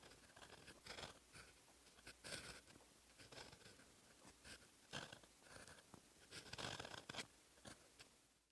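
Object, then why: Paper notebook page under a metal pen nib. A metal fountain pen nib scratches across a flat, lined paper notebook page while writing Korean letters in black ink. Close, dry, bright scratching strokes come in uneven bursts, with quiet gaps between them.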